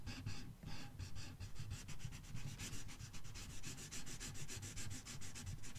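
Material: Paper.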